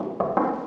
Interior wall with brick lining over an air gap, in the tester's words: si vous entendez ce bruit ou ça sonne creux